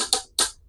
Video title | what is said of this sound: BATONG KALAWAKAN BA ITO O KAHOY NA NAGING BATO? | Ito ang tunog ng bato